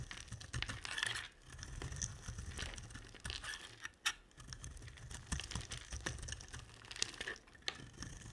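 A utility knife blade scrapes curls off a solid blue oval embossed bar of dry soap. It makes dense, crackly scraping and crumbling with bright, papery edges over a low rumble, in runs broken by brief pauses.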